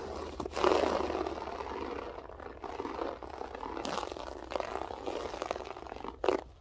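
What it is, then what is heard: Loop-pile carpet being scratched. Long French-tip nails scratch with both hands across a grey loop-pile berber carpet floor, making a dense, continuous scratchy crackle centered in the low-mids with some brighter rasping. The scratching comes in overlapping strokes with short pauses, with a sharper burst near the end and possibly faint speech beneath.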